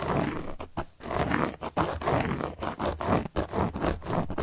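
A carving tool scratches across a large, round, solid cork board, making rough, rasping strokes with short pauses between them. The scratching is dry and gritty, with most of its energy in the low and middle range and only a faint bright hiss.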